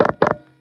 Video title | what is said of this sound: Sunday Conversations With Catfish! | Let me knock on this desk cuz it's wood.